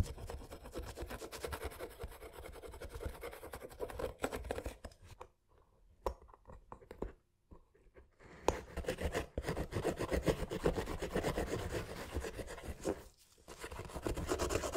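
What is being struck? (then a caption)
Leather sneaker with rubber sole, caked in dried mud. A thin metal pick tool scrapes dried mud off the leather upper and midsole of a mud-caked Nike Dunk Low "Panda" sneaker with a rubber sole, held in gloved hands. Rapid, dense scratching with a low-mid body fills the clip, quieting to sparse light scrapes around five to eight seconds and briefly near thirteen seconds before resuming.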